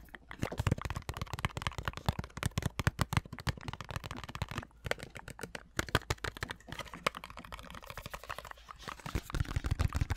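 A large white plastic Olay body wash/lotion pump bottle, hollow and appearing full, is held in hand and tapped and scratched with long manicured nails. Rapid, irregular, dull taps with a low, hollow thud die away almost instantly, mixed with soft scratching. The tapping grows denser and louder toward the end.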